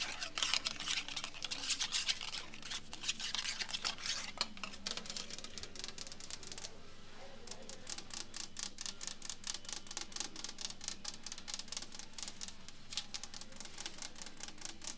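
Long acrylic nails scratch and tap the edge and solid wooden top of a small, polished antique mahogany-finish side table, after a paper price tag is briefly held at the start. Quick, dry, bright clicks and scratchy rasps run at an uneven rapid pace with almost no ring, pausing for a moment near the middle before the tapping resumes.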